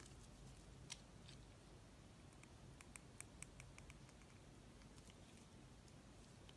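A solid yellow banana-bunch-shaped soap, held in the hand, is sliced and scraped with a snap-off utility knife blade. A quiet, continuous soft scraping runs under a low steady hum, broken by sharp, bright little clicks as the blade cuts through the soap.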